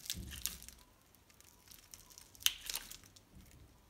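A metal utility-knife blade scores and carves a grid into the surface of a palm-sized, solid pink-and-white striped bar of soap held in one hand, with cubes crumbling off. Bright, dry crunches and crisp scraping cuts come in short bursts, with the sharpest snaps near the start and middle. Quieter stretches fall between them.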